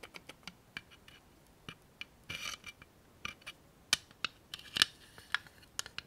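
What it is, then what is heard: Plastic tape dispenser. Long manicured nails tap a small clear and white plastic 3M tape dispenser holding a roll of tape. The result is a quiet, irregular series of sharp, bright clicks, each dying away almost instantly, with a brief scratchy rub partway through.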